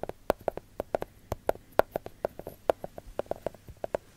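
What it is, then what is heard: Milk chocolate bar. Long gold glitter fake nails tap on a solid segmented milk chocolate bar in its wrapper, producing 23 quick, dry clicks. Each tap is short with no ring and a mid-pitched knock around 640 Hz with a faint crinkly top. The taps come in an uneven, trotting rhythm at a quiet level.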